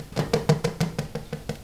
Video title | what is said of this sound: Word easiest way to make your own bread, part 2!!! | het klinkt hol dan is het klaar